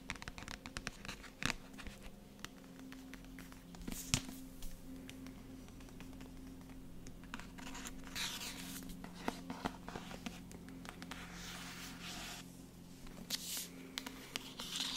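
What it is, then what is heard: Paperback book with card cover. Long nails scratch and tap across the front of a dark paperback book with a matte card cover, held close to the microphone. Dry, bright scratching runs throughout, broken by sharp, short taps on the card, over a faint steady low hum.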